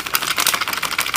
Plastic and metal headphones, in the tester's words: the fake ones when you pick it up rattles like crazy